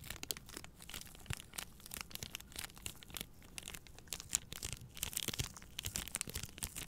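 A plastic-wrapped pack of three paper towel rolls is held in both hands while long nails scratch the plastic film. The result is a quiet, continuous stream of bright, crisp crinkling and scratchy ticks with a soft low rumble underneath.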